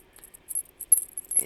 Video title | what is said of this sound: Facebook Live 1st April 2022 Part 2 | it's got a little bell on the end